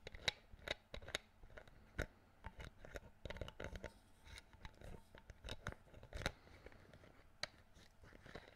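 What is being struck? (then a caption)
Plastic bottle screw cap. Fingertips twist and click the green plastic screw cap on a clear plastic water bottle held close to the mic. A quiet, irregular series of short, sharp, bright clicks and crackles rises over faint low rumble, each snapping off almost instantly.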